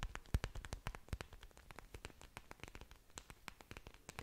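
Long dark nails scratch and tap the large, thick, waxy green leaves of an orchid plant with exposed aerial roots, held in front of a microphone. A quiet, rapid stream of dozens of crisp clicks and scratchy ticks follows, bright at the top with a soft low thump beneath. Each tap dies away almost instantly.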